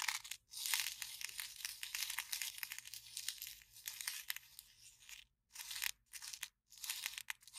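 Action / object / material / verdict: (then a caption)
scrape / empty paper cup / paper / none. An empty, small, hollow white paper cup with a cartoon print is held in one hand while the fingertips and long nails of the other hand scratch and crinkle its wall. The result is a steady stream of bright, crisp crinkling and scratching with no low end, broken by a few short silent gaps near the end.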